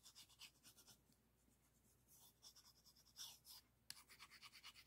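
A small, solid orange-painted wooden arc piece from a rainbow stacking puzzle is held in both hands and scratched and rubbed with fingertips and nails, touching an adjacent green piece that may also add to the sound. Quiet, bright, crisp scratching comes in rapid pulses with a short pause in the middle and a sharp tick near the end, with almost no low end.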